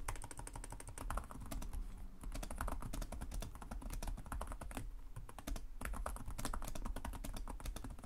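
Both hands type rapidly with short-nailed fingertips on the plastic chiclet keys of a black laptop resting on a desk. A dense, steady stream of short, crisp clicks and taps with bright edges sits over a soft low rumble, each keystroke dying away almost instantly.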